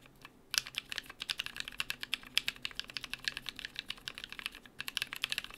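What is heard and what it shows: Fingertips of both hands type rapidly on a small BM43A mechanical keyboard with NK Cream switches, cream and brown PBT plastic keycaps, an aluminium plate, and a hollow case with plate foam. After a brief quiet moment, a fast, steady run of crisp, bright clacks follows, each keystroke short and dry with almost no ring.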